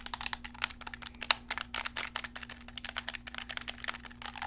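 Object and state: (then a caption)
Plastic game controller. Fingertips click the buttons and tap the shell of a hollow, black PlayStation-style plastic gamepad held close up. About thirty short, dry, bright clicks and taps come in a quick, uneven run, each stopping almost instantly. A faint steady low hum sits underneath.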